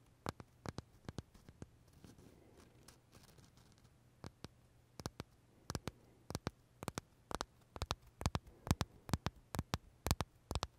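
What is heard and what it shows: Short fingernails tap and scratch the crisp shell of a large purple Starbucks blueberry macaron held near the mouth. About 31 quiet, dry clicks come in an irregular rhythm, each dying away almost instantly. A soft scratching texture and a faint low hum sit underneath.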